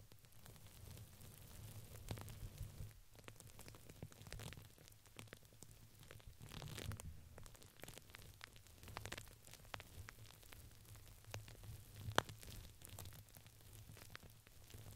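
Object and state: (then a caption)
Fabric ring with crinkly filling. A purple printed fabric ring with crinkly filling, fitted around a microphone, is scratched and squeezed at its sides by fingertips and long nails. This produces quiet, dense crinkling and scratchy crackles over a low rumbling hum, with a sharper pop near the end.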